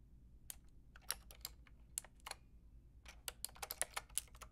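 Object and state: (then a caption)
Plastic mechanical keyboard being typed on. Long painted nails and fingertips type on a white-and-pink Lofree mechanical keyboard with round plastic typewriter-style keycaps and a hollow plastic case. About sixteen sharp, bright, clacky keystrokes land at an uneven pace, each dying away almost instantly over a faint low hum. The typing stays quiet and speeds up into a quicker burst near the end.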